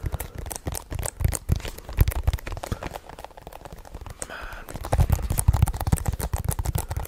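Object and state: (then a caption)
Plastic DVD case. A hollow hard plastic DVD/game case with a printed cover insert, held in both hands in front of the microphone, is tapped and scratched quickly with fingertips and nails. The result is a dense, fast run of short, dry taps with a low, thumpy body, broken briefly near the middle by a brighter scratching stretch before the tapping picks up again.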